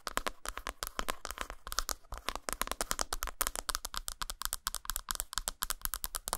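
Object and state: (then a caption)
Dark chocolate bar tapped and scratched. Long nails rapidly tap and scratch the dotted, textured surface of a solid flat dark chocolate bar lying textured side up on a towel. The result is a quick, dense run of dry, bright clicks and scrapes that die away almost instantly, over a faint steady low hum.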